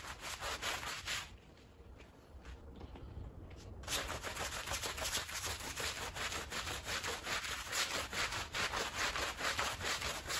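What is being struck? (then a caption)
Woven fabric rug scrubbed with a stiff push broom. A green push broom scrubs a small, fringed woven fabric rug that is wet and foamy, making rapid, rhythmic, bristly rasping strokes with a bright, wet hiss. The scrubbing eases into a quieter, softer stretch for a couple of seconds, then returns louder and steady until the end.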